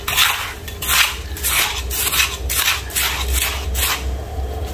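Bare fingertips and hands dig into, scoop and rub a large loose heap of gritty, damp grey-brown sand and cement mix, working the crumbly mass in a mixing, scratching action. Repeated bursts of bright, grainy scraping and crunching rise and fall over a steady low hum.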